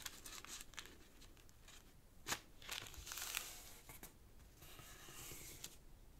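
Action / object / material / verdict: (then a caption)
scrape / thin origami paper sheet / paper / none. Fingertips rub and crease the folds of a thin, partly folded sheet of purple origami paper resting on a black cloth table. Soft, bright rustling and crinkling run throughout, with a few sharper crackles as the creases are pressed.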